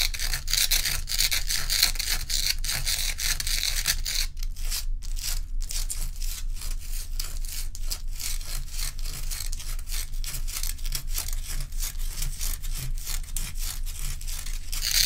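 Long nails rub and scratch the frosted top and sides of a large, bowl-shaped solid ice dome about 20 cm across, resting on a towel. It makes a steady run of quick, bright, gritty scraping strokes over a low, constant rumble, with a short thinner stretch near the middle before the strokes continue to the end.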